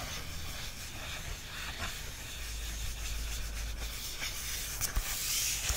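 Fingertips rub and trace across a glossy printed photo page of a paperback lying open. A soft, continuous brushing hiss carries across the whole clip over a steady low hum, with a couple of brief, slightly louder scuffs near the end.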